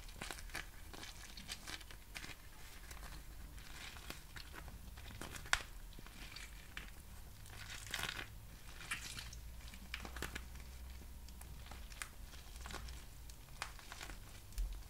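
A small, clear, crinkly plastic pouch with printed text, made of thin, hollow film, is squeezed and crinkled in both hands with the fingertips. It gives a quiet, continuous crinkling full of quick, bright crackles, with a few sharper snaps standing out. A steady low hum sits underneath throughout.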